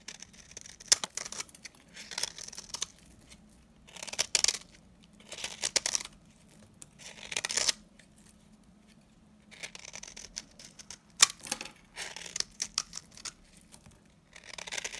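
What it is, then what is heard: Dry laundry soap bar. A blade scrapes across the face of a dry yellow laundry soap bar held in hand, crumbling off chips. The scrapes come in bright, crisp bursts of scratchy crackling and tearing, separated by short pauses, with a faint low hum underneath.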